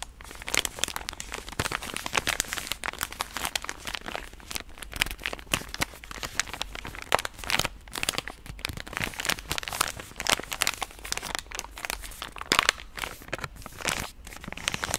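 A full pink soft plastic wet-wipe pouch is held up close and scratched and tapped with long nails. The result is a dense, continuous run of bright crinkling and crunching with quick, sharp taps that die away almost instantly. Very little low end sits under the crinkle.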